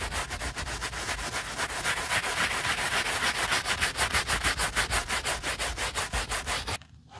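A bristle brush with a wooden handle scrubs foam over the knit fabric toe of an upside-down Adidas Yeezy Boost 350 sneaker. Quick, steady back-and-forth strokes make a bright, rasping scrub that repeats rhythmically. The strokes stop near the end, leaving near silence.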